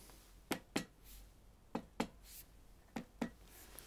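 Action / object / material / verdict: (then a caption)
tap / metal paint pot filled with paint / metal / full. The side of a paint pot full of paint, standing in for a wine barrel, is tapped six times in three close pairs. Each tap is a short, dull knock that dies away almost at once. The flat, damped note is the stony dullness likened to a chest full of fluid.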